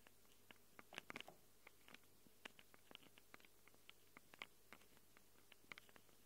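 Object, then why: Handheld recorder microphone capsules, plastic and metal, scratched with long nails. Long acrylic nails scratch quickly over the plastic and metal-rimmed microphone capsules of a small handheld Tascam recorder with a plastic body. About 23 sharp, bright clicks and scrapes sound in quick, uneven succession, each dying away almost at once. A faint steady low hum runs beneath them.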